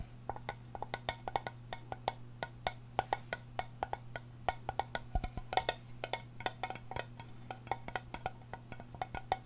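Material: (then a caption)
Aluminium. A small, round, hollow silver aluminum tin with a screw lid, held close to the microphone, is tapped and scratched with long painted nails. The result is a quick run of sharp, dry clicks with a hollow ring around 750 Hz, each dying away almost at once, while a steady low hum runs underneath.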